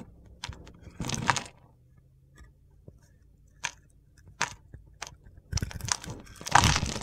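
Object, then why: Bar of soap. A solid mint soap bar with a blue edge, held in the palm, is shaved with a metal box-cutter blade. Short crunchy, gritty scrapes come in bursts separated by quiet gaps, the loudest near the end, with bright crackle over a low thud. The shaving gives crunchy chips.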